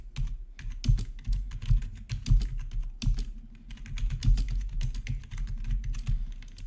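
Fingertips of both hands type steadily on a full-size black plastic membrane gaming keyboard with an RGB backlight and a hollow housing, resting on a marble surface. The rapid, uneven keystrokes give dull, low, thuddy taps that die away almost instantly, with faint bright clicks riding on top.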